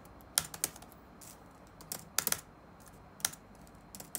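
Fingertips tap the black plastic keys of an open laptop resting on a wooden desk, producing eleven quick, bright clicks in scattered bursts. Each tap is short and crisp with almost no ring, and faint hiss fills the quiet gaps between them.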